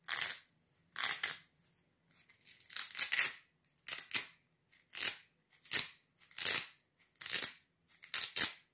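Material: Velcro fabric.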